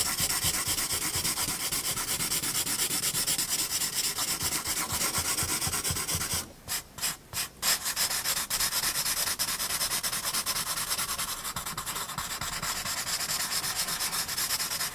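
A blending stump rubs graphite across the penguin's body and head on a paper sketchbook page, making a steady, bright, scratchy rubbing of quick back-and-forth strokes. Around the middle the rubbing breaks into a few short pauses, then resumes at the same even pace to the end.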